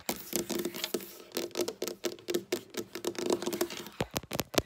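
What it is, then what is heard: Wooden tabletop. Long black nails on both hands tap rapidly on a flat, solid dark wooden tabletop. The result is a quick, uneven patter of short, dry clicks with bright edges and a faint hollow tone around 360 Hz, each tap dying away almost instantly.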